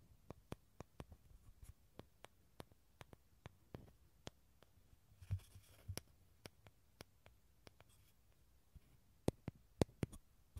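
Fingernails tap and scratch a small, hollow, halved dried gourd with a thin shell and an empty tan interior, held in both hands. About 22 quiet, sharp clicks come at an uneven pace, each with a brief low hollow knock. They are broken by a few soft scratching rubs against the inner surface, and the clicks grow slightly louder near the end.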